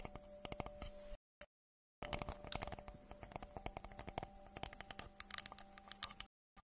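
Long nails tap and scratch across a round, solid wooden tree slice with a bark rim, held in both hands. Many quick, soft, dry clicks and scrapes run in bursts, with a steady low hum beneath and short silent gaps near the start and end.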